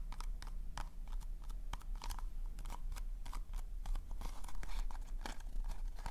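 Fingertips and nails tap and scratch the glossy surface of a hollow pink polka-dot cardboard/paper cone party hat held in front of the mic. Quick, dry, crinkly clicks and scrapes come in a steady irregular stream, each with a crisp bright edge that dies away almost instantly. A constant low hum sits underneath throughout.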